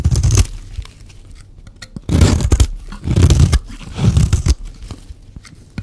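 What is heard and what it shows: A metal blade shaves along the edge of a solid, dry, hand-sized pink soap bar. Four separate bursts of dry, crunchy scraping stand out from quieter gaps, each with a deep, low-heavy body.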